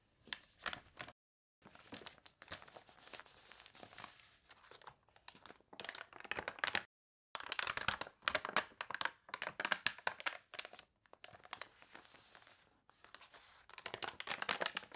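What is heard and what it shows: Long nails lift and crinkle the warped paper pages of a thick toy catalog in close-up. Dry, bright crinkling and crunching comes in quick bursts with brief silent pauses and little low end.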